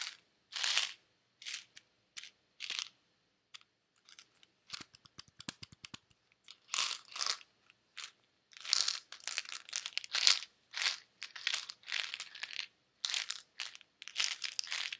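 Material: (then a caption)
Plastic. A white plastic Advil bottle with a white cap, holding pills, is shaken and tapped by hand. Bright, crisp rattling bursts of tablets come in short shakes with brief pauses, and a run of quick, light taps sounds in the middle. The sound is thin and high with almost no low end, and it stops dead between bursts.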